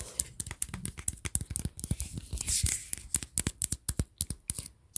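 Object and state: Metal tin can, tapped and scratched.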